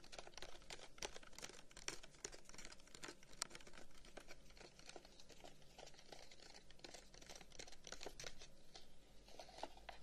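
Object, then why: Carved wooden box. A long, hollow, carved wooden incense box is tapped rapidly with the fingertips, first while held in the hands and then while lying on a table. The taps are quiet, dry, bright clicks that stop almost instantly, forming a dense patter over a steady low hum.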